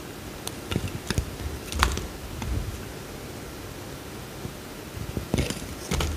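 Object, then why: Soap bar cut with a metal knife blade. A metal utility knife blade carves a small, solid peach-orange bar of soap held in the hand, shaving off curls. Short, crisp scraping clicks with bright edges come in irregular bursts over a soft, steady hiss, each cut dying away almost at once.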